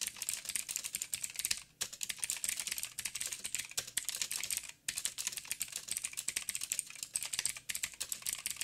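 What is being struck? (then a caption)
Mechanical keyboard with plastic keycaps. Fast typing with the fingertips of both hands on a backlit mechanical keyboard with plastic keycaps and blue clicky switches. It produces a dense, bright stream of sharp, short clicks with almost no low end. The run breaks in two brief pauses, near 1.7 and 4.8 seconds.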